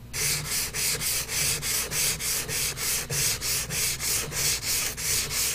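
A hand rubs a blue-and-white pastel or crayon stick in short strokes across a large white paper sheet clipped flat to a drawing board while colouring in an iris. Eleven steady, evenly spaced scratchy strokes produce a bright, hissing rasp with a faint low rumble underneath.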